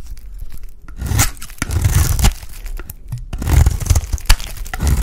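A solid, embossed oval bar of dry lilac soap is held in the hand and scraped and shaved with a utility blade. It makes dry, crumbly tearing and scraping rasps in uneven bursts over a low rumble, each stroke cut off short with almost no ring.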